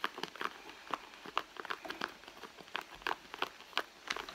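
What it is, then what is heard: Leather handbag scratched with nails. Long nails scratch the red leather of a handbag lying flat, working near the seams. Quick, dry scratches and crinkly scrapes come in an uneven rhythm, with a bright, papery edge and no low end.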